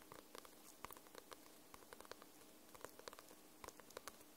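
Long nails tap and scratch the glossy paper cover of a paperback book, making about sixteen short, dry clicks with tonal ticks around 1 kHz and bright edges over a soft, steady scratchy hiss. The taps are quiet and die away almost instantly, scattered unevenly across the clip.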